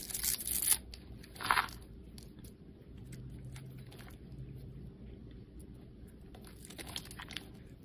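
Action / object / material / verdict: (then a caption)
scrape / bar of soap cut with a metal blade / soap / none. A solid white bar of soap with blue and pink streaks, held in the hand, is cut and scraped with a metal blade. Bright, crunchy scraping bursts come near the start, followed by a quieter stretch of faint scraping over a low steady hum. A few more light scrapes arrive near the end.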